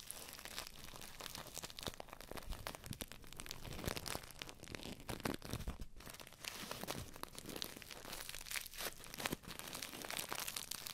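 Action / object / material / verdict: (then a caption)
scrape / paper tea bag filled with dry tea leaves / paper / none. A small paper tea bag with string and tag, filled with dry tea, is held close to the microphones and rubbed and squeezed between fingertips and long nails. Dense, continuous crinkling and crunching runs throughout, with sharp papery crackles spread across low and bright tones and no ringing after each crackle.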